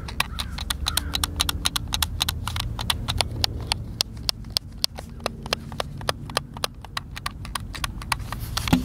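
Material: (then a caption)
Plastic. A white plastic Xbox controller, hand-sized and hollow, is held in both hands while fingertips and thumbs press and click its buttons. A rapid, uneven stream of dozens of sharp, bright plastic clicks rises over a low, muffled rumble of handling.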